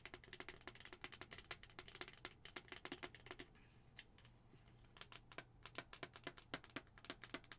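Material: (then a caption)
Plastic. Long acrylic nails tap and scratch a hollow white plastic skull-shaped cup with a pink plastic lid, making rapid, bright, dry clicks that die away almost instantly. The tapping pauses briefly in the middle for softer scratching, with a faint low hum running underneath throughout.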